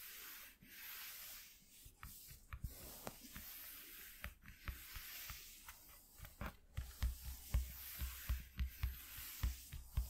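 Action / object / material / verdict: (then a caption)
scrape / corrugated cardboard sheet / cardboard / none. Short nails scratch across a flat white corrugated cardboard piece lying on a dark cloth, using both hands. Quiet, steady papery rubbing and hiss build into a run of sharper, irregular scratches in the second half, each with a brief low thump and a bright crackling edge.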